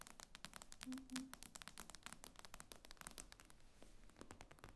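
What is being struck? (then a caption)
Tablet with glass screen. Long nails tap rapidly and irregularly on the glass screen of an iPad lying flat. The result is a quick stream of sharp, bright clicks that die away almost at once, over a faint low hum.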